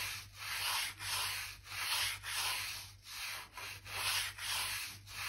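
A blue-handled crevice brush scratches along the gaps between light oak floorboards, brushing out dirt and dust. Repeated bright, dry, scratchy strokes swell and fade in a steady rhythm, with a faint low hum underneath.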